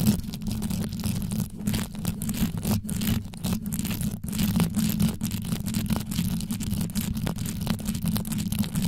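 Long yellow nail tips rapidly scratch and tap on the top of a rhinestone-studded microphone, seen close from above. The result is a steady stream of dense, quick crackling and clicking with a deep, muffled low-end rumble throughout.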